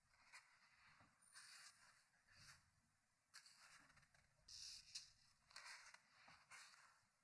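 Fingertips turn the pages of a large open hardcover book with paper pages, one at a time, on a wooden table. Each turn makes a soft, bright paper flip and rub, with quiet pauses between the turns.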